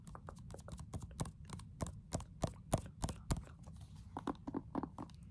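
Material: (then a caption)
Plastic. Long nails and fingertips tap fast on the back of a pink plastic case on a handheld game console, a hollow hard shell with a black grip. The result is a rapid, uneven stream of short, dry clicks and hollow knocks, each with a low body, a bright clicky edge and almost no ring.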